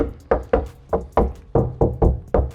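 Eight hollow knocks on the large steel rear cab sidewall panel of a Toyota LandCruiser 70 Series before sound deadening is installed. Each knock is a short, boomy thud with a low resonance that dies away quickly. The panel is undamped and resonates freely.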